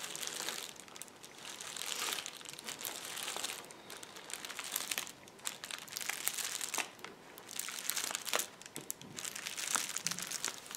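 Fingertips press, squeeze and scratch the air-filled bubbles of a flat sheet of clear plastic bubble wrap. Dense, bright crinkling and scratching fill the clip, broken by sharp crisp pops and crackles, with almost nothing in the low end.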